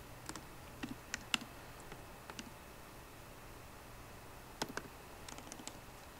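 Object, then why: Laptop keyboard with plastic keys on an aluminium body. Fingertips with long nails type at a slower pace on a MacBook Pro keyboard, with plastic keycaps on a hollow aluminium laptop body. About eleven short, dry, bright clicks come in two loose clusters separated by a quiet pause. The key taps are soft against a low, steady background hiss.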